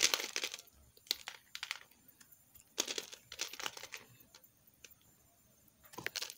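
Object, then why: Bar of soap scraped by a metal knife. A metal knife scrapes chips off the surface of a solid green soap bar held in the palm. Short, bright, crisp scraping bursts come in irregular strokes, separated by brief quiet gaps, with no low end and almost no ring after each stroke.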